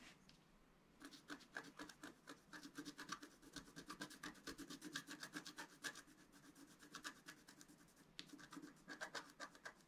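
A pointed wooden stylus scratches near the bottom of a thin, flat, black wax-coated scratch-art paper sheet resting on a table. Quick, dry, bright scratching strokes come in an uneven stream after a brief quiet start, with a short lull before a final burst. The strokes stay soft and close, with no ring after each one.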